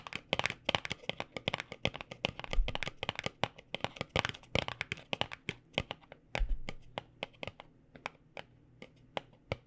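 A small white paperboard cosmetic box held between both hands is tapped quickly with fingertips and nails. The result is a fast, uneven patter of short, dry, bright clicks that die away almost instantly, over a faint steady low hum. A couple of duller low thumps occur partway through.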